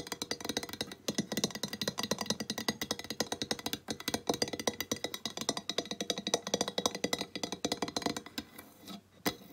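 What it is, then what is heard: Ceramic tile sign tapped by fingernails. A flat painted ceramic tile sign reading "Welcome to the Mountains!", about 20 cm and held upright, is tapped and scratched across its glazed face with long nails. The sound is a fast, continuous run of bright, short clicks with a hard, glassy ring and little low end. The tapping thins out near the end, with a final sharp tap.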